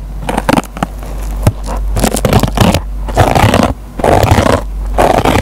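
A metal pen tip picks and scratches at the green nylon scouring pad of a dry, rectangular yellow foam kitchen sponge. It makes irregular bursts of dry, crackly scraping over a steady low hum, with brief pauses between bursts.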